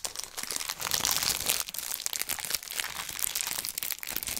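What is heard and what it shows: Fingertips squeeze and rub the clear cellophane wrap on a small rectangular blue-and-white cardboard box held in one hand. The result is a steady, dense stream of bright, crisp crinkling and crackling, almost all high in pitch with barely any low end. It swells and dips in loudness but never stops.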